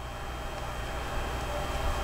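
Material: Nothing is struck.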